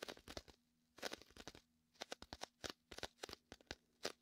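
Fingertips and a palm press on and peel off the sticky surface of a large, hollow, air-filled red-and-white inflatable PVC vinyl beach ball. The result is a quick series of about twenty short, crackling, tearing snaps with a bright, high sizzle. A faint low hum sits underneath between the peels.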